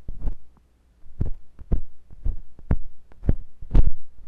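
A metal carving tool with a wooden handle, held by fingers with long nails, scratches inside the ear canal of a white, solid soft silicone rubber ear on a binaural microphone body. The result is a series of deep, muffled thumps and scrapes, dull and boomy with almost no high end, separated by brief pauses.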